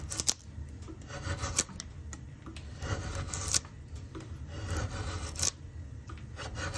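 A steel drawknife is pulled along the top of a solid, light-coloured softwood plank, an axe-handle blank with a pencil-marked oval on the end grain, clamped in a bench vise, peeling off long curling shavings. The blade makes steady rasping, scraping strokes over a low rumble, with sharp bright clicks at the loudest moments of some strokes.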